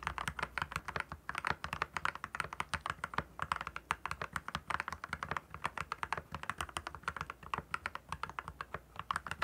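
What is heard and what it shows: Rapid fingertip typing with both hands on a compact 68-key RK68 mechanical keyboard with clear plastic keycaps and RGB backlighting, resting on a desk. Quick, short key clicks and clacks with a bright, crisp edge follow each other in a steady, uneven stream.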